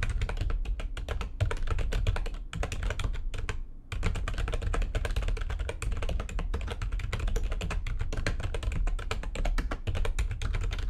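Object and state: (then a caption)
Plastic computer keyboard being typed on. Rapid typing with long painted nails on a backlit plastic computer keyboard gives a dense stream of quick, short clicks and taps that ring out almost instantly. A heavy low thump sits under the bright clatter. Brief pauses come around 2.5 seconds and just before 4 seconds, then the fast typing carries on steadily to the end.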